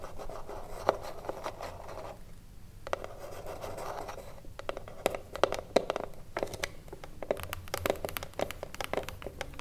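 Long blue nails tap and scratch the top edge and front of a small hollow wooden cigarillo box resting on a table. A steady dry scratching texture is broken by a brief lull, then sharp, short taps with a hollow, woody mid-range tone punch through alongside bright clicks.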